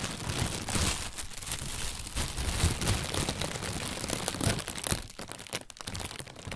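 An inflated white plastic bag, hollow and full of air, is held in both hands and squeezed and crinkled with the fingers and a fist. It gives a steady, dense rustle of bright crinkles and sharp crackles over a low, muffled thump. Toward the end the crinkling thins out into quieter, broken bursts.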